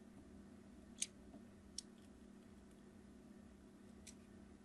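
The tip of a craft knife blade scratches crosshatch lines into a solid red translucent glycerin soap bar held in the hand. Three short, bright scraping clicks stand out over a steady low hum, the first sharpest and the last faint.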